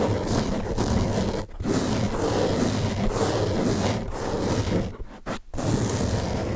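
Fingertips and nails scratch the top surface of a large blue open-cell foam car sponge, a soft porous block. The result is a steady, dense, low-heavy rasping scrape that runs almost continuously, broken only by a brief pause near the 1.5-second mark and a couple of short gaps around 5 to 5.5 seconds before the scratching resumes.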